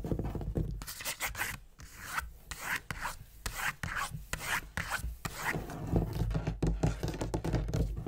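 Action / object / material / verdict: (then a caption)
scrape / leather-topped wooden desk / leather, wood / none. Fingernails scratch and rub the leather inlay of a large, dark wooden writing desk with a gold-tooled border, while fingertips tap the solid surface as the hands move across the top and near the far edge. The result is quick, irregular bursts of raspy scratching mixed with dull, low taps that die away almost at once, growing busier and louder toward the end.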